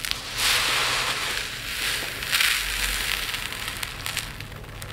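Hands rake through a pile of tiny multicolored resin diamond art drills in a dark plate, then scoop a handful and pour a stream back onto the pile. The sound is a bright, dense rattling and hiss of many small pieces shifting, with louder swells as the drills are raked and poured, followed by scattered lighter clicks.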